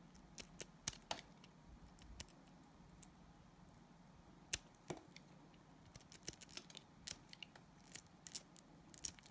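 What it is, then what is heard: Glycerin soap bar being scraped. A utility knife blade scrapes thin sheets off a solid, translucent orange glycerin soap bar. Quiet, crisp, bright scraping ticks and short rasps come in irregular bursts over a soft, steady low hiss, each one dying away almost instantly.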